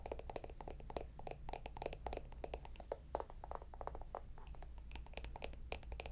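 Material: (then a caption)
Wood. Long nails rapidly tap and scratch a small, round, hollow wooden jar with a lid, making quick dry clicks with a hollow tone around 570 Hz and bright, short-lived edges. A steady low hum sits underneath the whole quiet clip.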